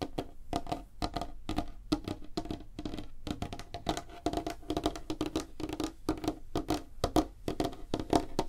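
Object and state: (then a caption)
Wooden tabletop tapped with fingernails. Long fingernails on both hands tap fast across a large, flat, solid light-wood tabletop. The result is a dense, steady patter of short, dry clicks with a hollow woody tone around 700 Hz and almost no ring after each tap.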